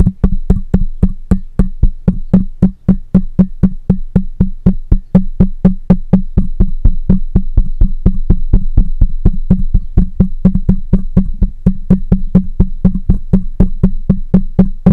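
Fingertips of one hand tap the top and side of a black microphone's hollow metal mesh head in a fast, fairly steady stream of dozens of taps. Each tap lands as a deep, boomy thud with a short woody knock and very little ring.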